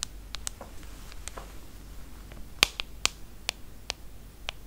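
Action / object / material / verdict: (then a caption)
tap / smartphone with glass screen / glass / none. Long acrylic nails tap the glass screen of a small, solid iPhone held flat, making about ten sharp, bright clicks at an irregular pace. Each tap is very short and dies out at once, with the loudest clicks near the middle of the clip over a faint, low background hiss.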